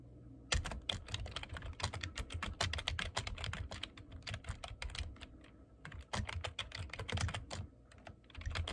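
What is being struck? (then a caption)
Plastic computer keyboard. Fingertips type rapidly on the keys of a black plastic computer keyboard, producing a dense stream of short, sharp clicks with bright tops and a soft low thump under each keystroke. The typing runs in quick bursts, with brief pauses around the middle and near the end.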